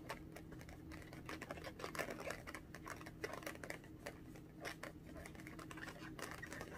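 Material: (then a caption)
Latex. Long orange acrylic nails rapidly tap and scratch the surface of a small inflated pink latex balloon, hollow and air-filled, held in both hands. The result is a quiet, steady patter of short, dry clicks with scratchy, brushing texture over a faint low hum.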